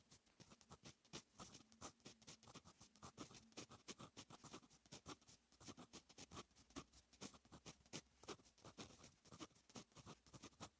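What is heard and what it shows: A fine metal fountain pen nib scratches writing strokes across a lined paper notebook page. The result is a quiet, steady run of dense, short, bright scratches with a faint low hum underneath.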